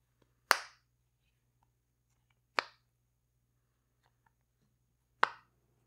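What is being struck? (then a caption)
Silicone pop-it fidget toy. A rainbow heart-shaped silicone pop-it fidget toy has its bubbles pushed and popped with fingertips and long nails. Three sharp, bright pops sound at uneven intervals, each snapping sharply and dying away quickly, over a faint low steady hum.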